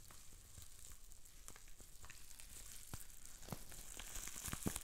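Green plastic bubble wrap with small air bubbles is twisted and squeezed between the fingers, popping many bubbles. A steady, crackling sizzle of plastic is broken by sharp, brief pops, with a bright hiss on top, and it grows slightly louder toward the end.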